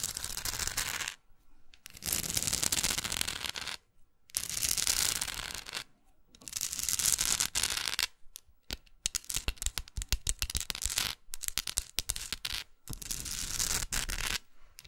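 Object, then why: Painted wooden art block. Long nails scratch and rub the textured painted edges and the labeled back of a solid wooden art block plaque. Bursts of bright, dry scraping alternate with short pauses, and the later stretch breaks into many quick, crisp scratching strokes.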